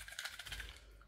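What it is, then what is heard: Raffle drum full of paper lots. A raffle drum filled to the brim with 61 paper lots is shaken, and the lots rattle inside. The result is a quick burst of dry, bright clicking and tapping that gradually fades over about a second.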